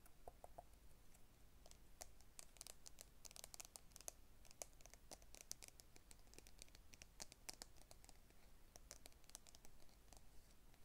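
Long red nails tap and scratch the lid and sides of a small round clear plastic tub full of green-stemmed cotton swabs, held in both hands. A quiet, steady run of many bright, sharp clicks and scratchy ticks with no ring plays over a low, constant background rumble.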